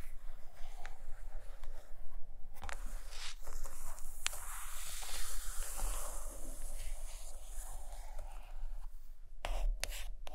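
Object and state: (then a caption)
Hardcover book. A large purple hardcover book of Bidstrup drawings rests on a blanket while long painted nails scratch and tap its cover. Soft, steady scratching and rubbing runs throughout, with a few sharper taps.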